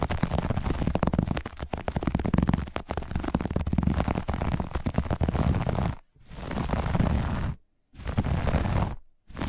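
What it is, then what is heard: Textile carpet. Long nails on both hands scratch fast across a grey-beige looped pile textile carpet. The result is a dense, low, rumbling scratch, continuous for about six seconds and then broken into three bursts separated by brief silences.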